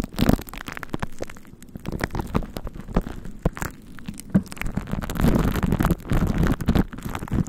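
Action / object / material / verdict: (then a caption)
scrape / plastic glue stick on cling film over a microphone / plastic film / none. A plastic glue stick is rubbed and dabbed onto a microphone head wrapped tightly in clear plastic cling film with a purple glue layer on top. The sound is close, low and muffled sticky smearing, crackling and irregular soft taps on the film, with very little high end.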